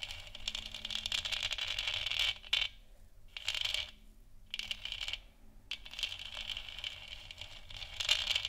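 Long fingernails on both hands tap quickly around the edges of a lit, hollow plastic moon lamp sphere. The result is a dense, bright, rattling patter of short clicks centred around 3 kHz, coming in bursts separated by brief quiet gaps.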